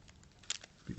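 A dry shed snake skin is crumpled by hand, giving a quiet, bright crackling patter of a few quick crinkles. It sounds like plastic, which shows the skin is dry, and a softer, low rustle follows at the end.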